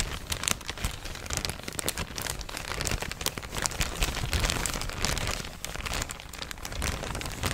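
An empty, thin yellow printed plastic shopping bag is crinkled and scratched with fingers and nails. It makes a steady stream of dense, crackly rustling with bright, sharp crinkles throughout and a low, soft rumble underneath.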